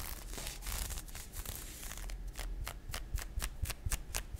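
Fingernails scratch and rub along a pink nylon fishnet arm warmer worn on the forearm, its thin open net fabric stretched over skin. A dense, continuous bright rustle of scratching gives way to a series of separate, quick, crisp scratch strokes, all over a faint low rumble.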